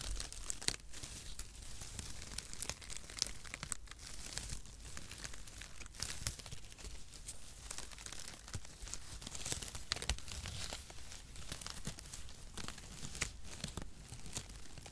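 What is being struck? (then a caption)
Cardboard packaging shreds. A bundle of printed brown cardboard packaging shreds, held in one or both hands, is squeezed and crumpled with the fingertips close to the microphone. It makes a steady, dense crinkling and crunching rustle, bright and papery, with frequent sharp little snaps and a low rumble underneath throughout.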